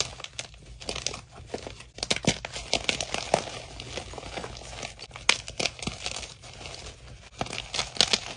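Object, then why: Block of gym chalk (magnesium carbonate). Fingers with blue-painted nails squeeze and crumble solid white gym chalk (magnesium carbonate) into chunks and powder in a dark bowl. It makes a dense run of dry, bright crackling and crunching with short, sharp snaps that die away almost at once. There is very little low end.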